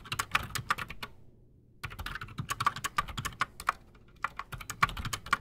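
Both hands type fast with their fingertips on a full-size black Redragon Shrapnel K589 mechanical keyboard with Outemu Silent Sky silent switches and Razer PBT plastic keycaps, sitting solidly on a desk. Rapid, muted, short clacks arrive in dense bursts, with a brief pause after the first second and another near the four-second mark. The keystrokes have a dull thud underneath and a bright, clicky edge.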